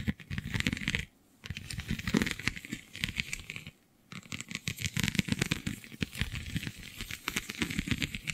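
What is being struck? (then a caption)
Vinyl sheet with raised scale bumps. Long nails scratch across a flexible, iridescent holographic vinyl sheet covered in raised, scale-like bumps. The result is dense, rapid, clicky scratching with a bright crinkly crackle over soft low thuds. The scratching stops briefly twice, near 1 and 4 seconds.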